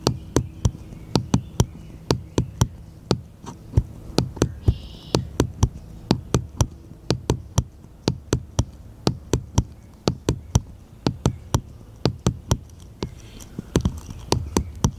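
A small, solid, unfinished wooden bottle-shaped cutout is held in the hand and tapped with fingertips and nails. About 44 short, dry clicks come in an uneven rhythm, each with a bright edge and almost no ring, over a low, steady hum.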